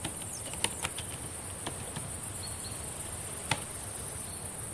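Long painted nails and fingertips tap on the plastic keys of a black laptop keyboard, making sparse, sharp clicks and soft taps. A steady high-pitched whine and hiss continue underneath throughout.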